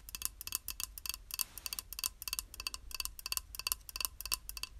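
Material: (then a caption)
Ceramic. Long acrylic nails tap a small, flat, square beige glazed ceramic tile, solid and held in one hand, in quick clustered bursts. Each tap is a sharp, bright click that dies away at once, with no ring, over a faint low background hum.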